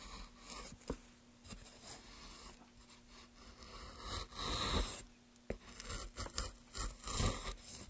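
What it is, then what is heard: Basswood block being carved. Gloved hands work a chisel across a solid pale basswood block, cutting and scraping the surface and lifting curled shavings. Dry, raspy scrapes and bright crunchy cuts are punctuated by several sharp, short-lived ticks over a low, steady hum.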